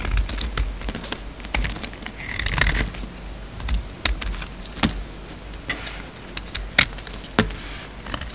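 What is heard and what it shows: A steel utility-knife blade carves chunks and flakes off a hand-sized solid pink soap bar with a red rind, held in the hand. Sharp, dry clicks and snaps of the blade biting the soap are heard, with a brief scraping rasp partway through over a low background rumble.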